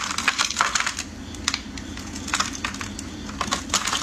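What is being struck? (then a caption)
Bar of soap cut with a metal blade. A metal utility blade scrapes and carves the surface of a solid, hand-sized yellow-green bar soap held in hands wearing pink finger cots. Crisp, bright clicks and short scraping cuts come in quick bursts over a faint low hum, with each snap dying away almost instantly.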